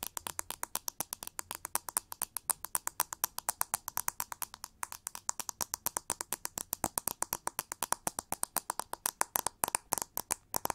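A pink plastic paddle brush with metal pins, held sideways, is tapped and scratched with long nails on its frame, pins and back. About 85 rapid, dry clicks follow one another with almost no ring, bright and crisp with little low end.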